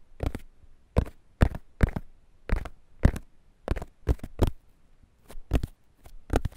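Fingertips and nails scratch and stroke the surface of a whole fresh ear of corn in its green husk, held against foam microphones. Short, dry, crackly scrapes come in irregular bursts separated by near silence, each with a heavy, close low thump beneath the rustle.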